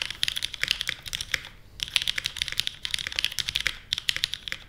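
A small 60% Portal mechanical keyboard with a white case, plastic keycaps and Kailh Stem MX Black switches is typed on continuously with the fingertips of both hands. The switches and keycaps bottom out in a steady stream of about two dozen sharp, bright clacks centred around 3.5 kHz, with short pauses near 1.6 and 3.8 seconds. Each clack is quick and dry with almost no low end.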